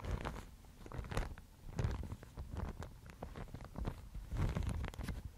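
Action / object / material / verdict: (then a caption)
scrape / sheet of mulberry paper / paper / none. A thin, fibrous Thai mulberry paper sheet is held by fingertips with long nails and rubbed and flexed up close. This makes soft, crinkly rustles and scratchy crackles in uneven bursts, over a dull, low rumble from handling.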